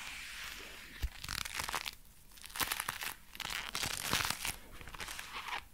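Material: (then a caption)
Leather. Dark brown leather gloves worn on both hands are clenched into fists and the fingers flexed, making the leather creak. The result is a close, bright run of crinkly creaks and crunchy rustles in uneven bursts, with a sharp low thump near the one-second mark.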